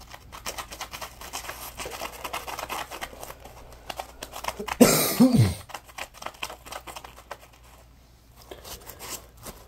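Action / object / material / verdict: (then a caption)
scrape / polymer foam sponge / polymer foam / none. A small, dry, yellow-orange Scrub Daddy polymer foam sponge, solid and porous, is held in both hands and squeezed, scratched and rubbed with fingertips and short nails. Soft, irregular scratching and rubbing patter runs throughout. Midway, a louder, bright rasp comes with a low squeak that slides downward before the quiet scratching resumes.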